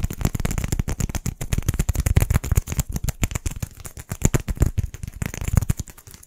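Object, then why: Small styrofoam balls. Two matching small white solid styrofoam balls, one held in each hand, are tapped and scratched fast with fingertips and nails. The result is a dense, rapid stream of short, dry, muffled taps and scratchy crackles with a low, thumpy body and almost no ring.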